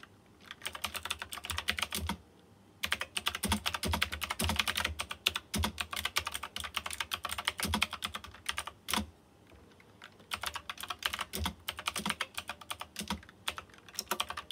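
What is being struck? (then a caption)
Plastic mechanical keyboard with round metal-rimmed keycaps. Fingertips type rapidly on a white plastic mechanical keyboard with round chrome-rimmed keycaps and RGB lighting. The result is dense bursts of bright, sharp key clicks with a low thock beneath, broken by short pauses near two seconds and around nine to ten seconds.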